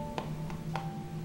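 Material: Baked batter.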